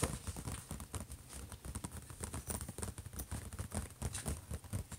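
Fingertips and nails scratch and tap on the closed lid of a silver, hollow HP laptop. Quick, short taps land in an uneven, rapid stream of dull, low-heavy thuds with almost no ring. A faint, steady high hiss of scratching runs beneath them.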